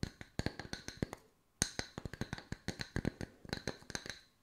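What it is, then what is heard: Wooden slice coasters. Long nails tap quickly on two solid round wood slice coasters, moved to the edges of the frame, for about 23 dry, sharp taps. Each tap has a low thump under a bright click and dies out almost at once. There is a brief pause near the middle before a denser run of taps.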